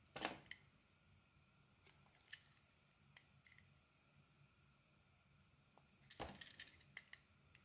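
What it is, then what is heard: Bar of soap being carved. A utility knife carves and scrapes facets into a solid white bar of soap with a yellow-green coating, held in the palm. Crisp, bright scraping bursts open the clip and return around the six-second mark, with quieter scattered cuts and clicks in between over a low, hushed background.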